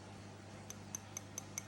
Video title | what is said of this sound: Sort jewellery with me 🙌 | It sounds like glass more than ceramic.